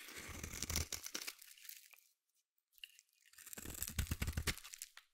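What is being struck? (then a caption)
Solid bar of soap cut with a metal blade. A metal utility blade scrapes curls off a solid green bar of soap held in the hand. Two bursts of quick, crunchy, rasping scrapes, with a low rumble under a bright, papery texture, are separated by a near-silent pause with one faint scrape.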